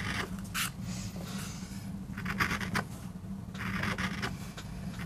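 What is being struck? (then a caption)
MDF board carved with a steel gouge. A wooden-handled steel gouge scrapes and carves grooves into a small, flat, solid MDF board that is inked dark, carved with a rose design, and held flat on a rubber mat, with short nails on the bracing hand. Repeated bright, rasping scrape strokes rise and fall over a steady low hum.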